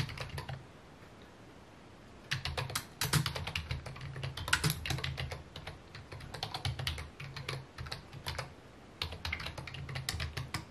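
Fingertips tap the keys of a full-size white and mint plastic computer keyboard with a hollow key housing, resting on a wooden desk. Quick, crisp, bright clicks come in bursts with brief pauses, each short and dry over a low thump from the desk.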